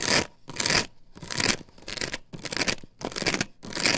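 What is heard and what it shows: Long fingernails scrape back and forth across the patterned surface of an upright plastic stencil template glued to a wooden board. The scratching comes in repeated bright, raspy bursts with short gaps between them, each stroke rising and fading in loudness.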